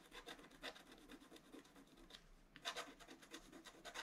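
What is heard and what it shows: A wooden stylus makes rapid scratches across the flowers on the right side of a flat black-coated scratch-art paper card. Quiet, bright, raspy strokes follow one another closely with a thin hiss, each fading almost at once.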